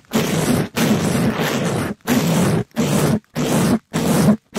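A palm-sized, flexible pink sparkly glitter scrub sponge of polyester mesh over foam, held in a black nitrile-gloved hand, is rubbed and scraped fast across the top of a microphone grille. It makes seven separate rough, scratchy bursts with a low buzzy rumble around 210 Hz under a broad hiss that reaches high; the second burst runs longer than the rest, and each stops abruptly with no ring.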